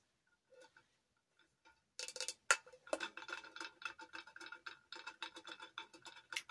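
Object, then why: Glass tumbler. A tall glass Hello Kitty tumbler with glitter decoration, a lid and a straw is tapped and scratched with long acrylic nails. A few soft, sparse taps give way after about two seconds to a dense run of quick, bright clicks and scratches with a ringing tone near 1.4 kHz. Each one dies away almost at once and there is no low end.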